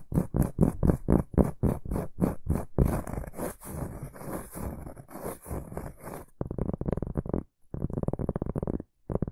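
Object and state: Round cork board scratched.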